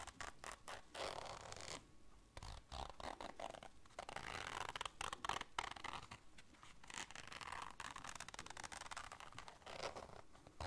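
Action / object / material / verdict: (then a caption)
scrape / small fabric-covered zipper case / fabric / none. Long dark nails scratch and scrape across a small, hollow, round black fabric-covered zipper case and along its zipper. The result is a dense run of quick, dry rasping strokes, bright and scratchy, in bursts separated by short pauses. Each stroke dies instantly with no ring.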